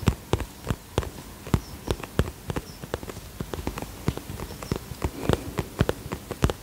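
Fingertips and nails tap rapidly along the front of a soft-sided iridescent polka-dot holographic vinyl zip cosmetic pouch held in both hands. The result is a quick run of short, dull taps with a deep thump and little ring, with contents unknown and a faint bright hiss underneath.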